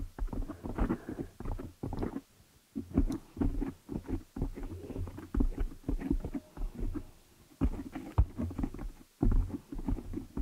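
Long nails and fingertips scratch and rub the black foam cover on a desktop microphone. The result is a dense, muffled stream of low, boomy rubbing and scratchy crackles that come in bursts, with brief near-silent gaps around 2.5 and 9 seconds.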